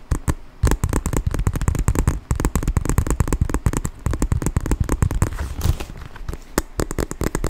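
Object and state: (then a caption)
Quilted leather handbag. A small black quilted leather handbag, soft and hollow, is squeezed, folded and tapped with fingertips close to the microphone. A rapid run of short, dull, low thumps and taps sounds through the clip, with a softer rustling scrape around the five-second mark.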